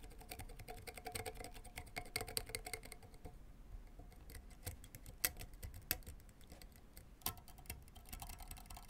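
A white fork is dragged and plucked across the synthetic strings of a full-size blue and white tennis racket with a graphite frame, lying flat on cloth, near the frame edge. Quiet, rapid scratchy ticking runs throughout, with a faint hum in the first three seconds. A few sharper, brighter plucks snap out above it.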